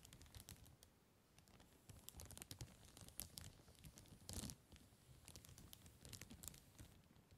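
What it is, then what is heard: Cellophane plastic bag. Fingertips tap and scratch the crinkly surface of a large, empty, clear cellophane bag resting on a table. The result is quiet, dry crinkling with many short, sharp taps and bright scratchy rustles over a low rumble. A louder crackling burst rises briefly near the middle of the clip.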